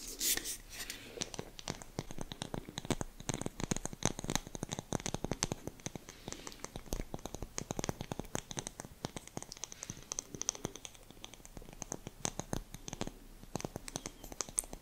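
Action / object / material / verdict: scrape / glass jar with metal lid / glass / none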